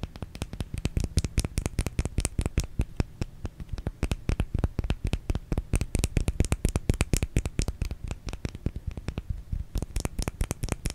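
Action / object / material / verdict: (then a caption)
tap / bar of soap / soap / none. A solid white oval bar of soap held in one palm has its face scratched and tapped with the fingernails of the other hand. The result is a rapid, continuous stream of short, dull taps and scratchy clicks with a soft low thump under each one, steady for the whole clip.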